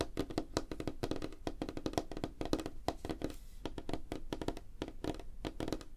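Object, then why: Wooden tabletop. Fingertips and nails of both hands tap rapidly on a flat, solid, light-colored wooden tabletop. A quick, uneven stream of dry, hollow-sounding knocks centers around 316 Hz, with a low thump underneath, a little bright click and almost no ring after each tap.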